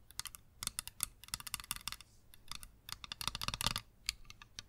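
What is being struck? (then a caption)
Plastic sunglasses frame and lenses. Long green acrylic nails tap and scratch on small, hollow-framed, tinted plastic sunglasses with green lenses held in the hands, touching both frame and lenses. Quick, dry, bright clicks sound in uneven clusters, separated by softer scratching passages with almost no ring.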